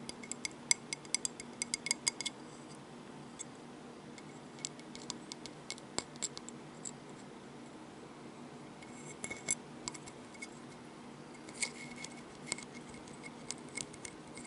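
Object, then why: Seashell. A seashell is tapped and handled, producing quiet, bright clicks and clinks with very short ring, bunched in clusters with pauses between. A faint low hum sits underneath throughout.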